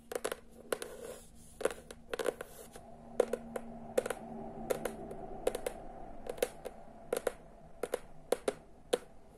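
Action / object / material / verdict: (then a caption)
tap / hardcover book cover and spine / cardboard / none. Long nails tap quickly on the cover of a teal hardcover book, then on its spine. The result is a run of sharp, dry clicks in uneven clusters, each with a short hollow knock near 500 Hz that dies away almost at once over a faint background hum.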